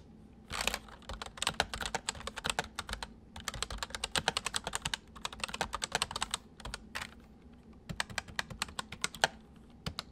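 Fingertips type on a full-size white plastic mechanical keyboard with white keycaps resting on a wooden desk, with the right hand moving over to the numpad. Rapid bursts of sharp, bright, clicky keystrokes come with brief pauses between runs, each click dying away almost instantly over a faint steady low hum.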